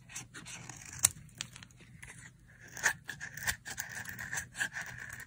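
A dry, solid pink soap bar, held in the hand, is scraped and carved with a utility knife blade, shaving off thin dry curls. Short, bright scraping strokes come in quick succession, with a sharp click near the first second and a steadier high rasp through the second half.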